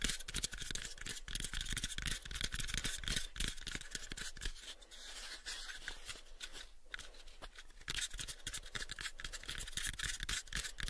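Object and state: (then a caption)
Wooden box. A pale, light wooden box is held close to the microphones while fingertips and nails scratch and tap its surface. Rapid, irregular dry taps and clicks alternate with bright scratching, each hit dying away almost at once. The tapping eases into a softer, scratchier stretch midway before the brisk taps return.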